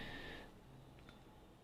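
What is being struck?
Nothing is struck.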